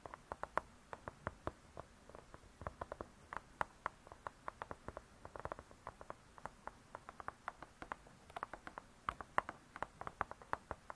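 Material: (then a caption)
Cardboard. Long pointed nails tap rapidly on the hard cardboard front cover of a spiral-bound cookbook. About 57 quick, dry, soft clicks centered near 1 kHz, each dying away almost instantly, come in uneven bursts with brief pauses across a quiet background.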